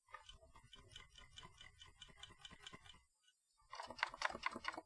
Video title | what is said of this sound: Radioking TX18S First Look | i'm just kind of shaking it a little bit and man it rattles it rattles